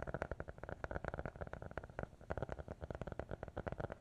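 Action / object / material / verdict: tap / hardcover notebook cover / cardboard / none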